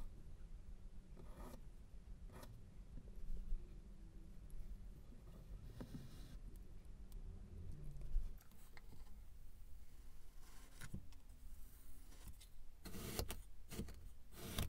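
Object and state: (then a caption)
Kinetic sand being raked. A metal-tined comb or rake is dragged down through a hand-sized solid block of pink kinetic sand on a white surface, scratching grooves as the sand crumbles into ridges. The sound is a quiet, steady scratchy scraping over a low rumble, with short bright rasps where the tines bite into the sand.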